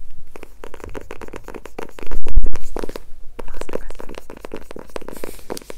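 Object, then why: Glitter-covered cardboard hardcover notebook. A small silver glitter-covered hardcover notebook with a cardboard cover, solid and held upright in both hands, is tapped and scratched with long nails on its textured glitter surface. Quick, irregular dry taps and gritty scratches blend with low, soft thumps, swelling into a louder, heavier stretch of rubbing about two seconds in before settling back into fast tapping.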